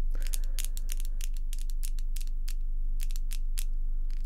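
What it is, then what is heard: Acrylic false nails. Long pink acrylic false nails tap against each other in quick, fairly regular bursts. Each tap is a sharp, bright click over a steady low hum that runs throughout.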